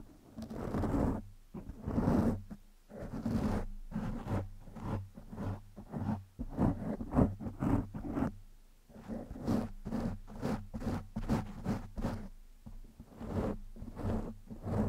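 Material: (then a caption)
Foam. Fingertips and short nails of one hand scratch and rub a soft, porous black foam windscreen over a microphone. The result is a rapid series of muffled, scratchy rustling bursts, heavy in the low end, over a steady low hum.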